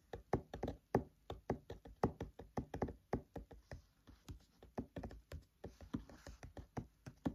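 Fingertips tap and knock on the paper pages of an open paperback book, close up. About thirty-three quick, dull, soft taps follow one another in an uneven rhythm, each one short with almost no ring. The sound is low and muffled, with only faint high hiss between the taps.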